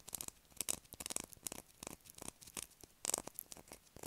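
Long acrylic nails scratch quickly across a solid blue bar of soap held in the hand. The result is a rapid run of dry, bright, crisp scratches with almost no low end, each one ending instantly.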